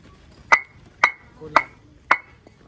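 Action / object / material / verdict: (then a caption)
strike / fired clay brick / fired clay / good. Fired clay bricks at a brick kiln are struck against each other to judge their quality by sound. Four sharp, clear clinks with a bright ring around 2 kHz die away almost at once. The brick is judged to be of good quality.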